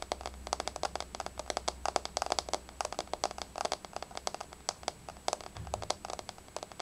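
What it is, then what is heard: Laminate floor tapped with fingernails. Long fingernails of both hands tap rapidly on a flat, solid, wood-grain laminate floor, making dozens of sharp, dry, bright clicks in quick irregular bursts. Each click dies away almost instantly, over a faint low hum.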